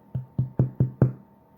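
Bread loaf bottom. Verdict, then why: Hollow. Five low, hollow knocks on the bottom of a loaf of basic white bread, each with a short dull thump. The hollow sound shows the bread is baked through and done.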